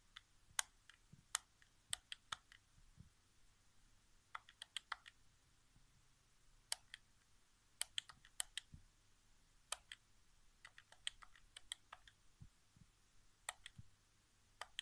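Fingertips tap and click the right-side face buttons of a hollow white plastic PS4 game controller resting on carpet. About two dozen short, dry, bright clicks arrive in irregular bursts, each dying away almost instantly over a quiet, faint low hum.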